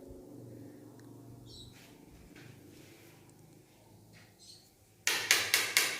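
Another side of a 60 x 120 granite bathroom wall tile is tapped with a lighter, giving five short, sharp, bright knocks after a stretch of quiet low background. The knocks sound solid and die away quickly, showing the tile is fully filled behind and not hollow.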